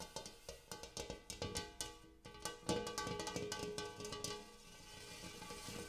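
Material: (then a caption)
Metal. Fingernails on both hands tap a large, empty, hammered brass-colored metal bowl near the rim and inside. A quick, uneven run of taps brings out a ringing metallic tone around 480 Hz with bright overtones. Each tap decays briefly and then blends into a lingering shimmer as the tapping continues.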